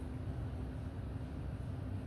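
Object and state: Nothing is struck.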